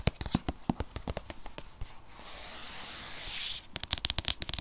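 Fingernails of both hands tap and scratch a rigid, tablet-sized white paperboard box that holds an 8th-generation iPad (2020). Quick, sharp dry clicks come first, then a rising bright scratching hiss across the surface, then another run of crisp taps.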